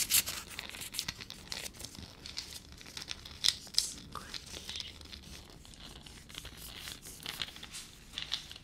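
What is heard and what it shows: Long fingernails scratch and crinkle a single small, hollow, dry, papery peanut shell held in the fingers. The result is a quiet stream of dry, bright crackling and scratchy rustles, with a few sharper crisp snaps standing out and almost no low end.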